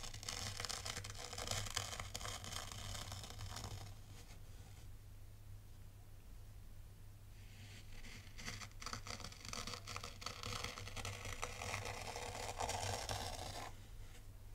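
Fingers drag a small dark plastic T-rake through dry, fine white sand in a tray, scraping lines into the surface. Bright, gritty, crisp scraping comes in two long passes, with a quieter stretch between them, over a steady low hum.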